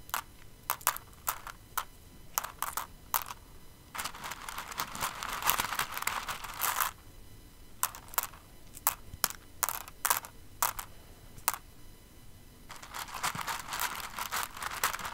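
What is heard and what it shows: Fingers with long nails dig into and stir an open, clear container full of plastic rhinestones. Sharp, bright clicks and rattles alternate with longer stretches of dense, crunchy shuffling as the pile shifts. The clatter is dry and quickly damped.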